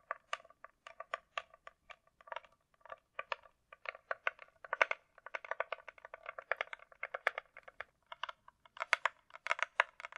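Long nails rapidly tap a closed, hollow hard-shell glasses case with a glossy coated shell while it is turned in the hand. The taps are dry, clicky and quick, with a bright mid-range tone, no low end, and almost no ring after each tap.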